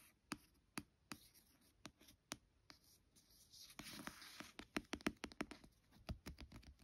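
A fingertip and long nails trace and scratch over the glossy card cover of a solid paperback book lying flat. Sharp, dry nail ticks sound in a quiet, spaced run, then a brighter scratching rasp swells in the middle before faster taps and short scrapes close the clip.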